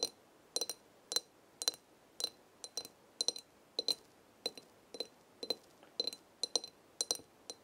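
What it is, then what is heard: Large glass jar of dried herbs. Long red nails tap the glass side of a large glass jar full of dried herbs, giving about 25 short, bright clinks at an uneven pace. Each tap has a brief high ring that dies away almost at once, with nothing heard in the low end.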